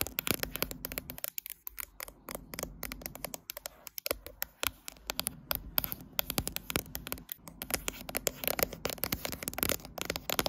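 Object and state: Glass-backed smartphone scratched and tapped.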